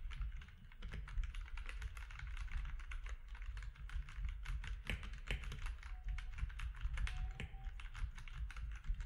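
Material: Plastic.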